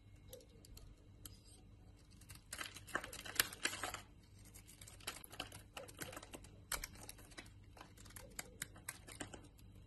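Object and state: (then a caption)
Bar soap being carved. A utility knife blade carves powdery flakes off a solid white Lux soap bar held in the hand. The result is quiet, dry, crisp scraping and ticking with a bright edge, coming in irregular bursts with a denser, louder stretch about a third of the way in. A faint low hum runs steadily underneath.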